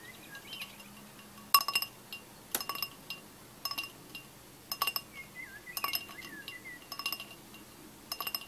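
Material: Glass.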